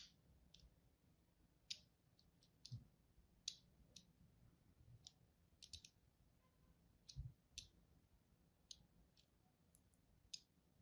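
A thin blade tip scores crosshatch lines into the surface of a solid green-and-white striped bar of soap held in the hand. Short, sharp, bright scratching clicks come at irregular intervals and stop dead with almost no ring. Beneath them sits a quiet, steady low rumble.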